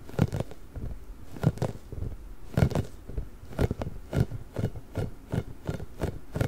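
A large, pink, hollow, inflated rubber ball with nubs is gripped, scratched and rubbed with nails and fingertips. The result is a steady run of short, dry scratching and rubbery scuffing bursts with a low, muffled body and quick, dead stops.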